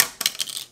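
An AMEX Gold credit card is dropped onto a surface in a drop test for comparison with the Apple Card. It lands with bright, high-pitched clicks and quick rattling bounces that fade out within a fraction of a second.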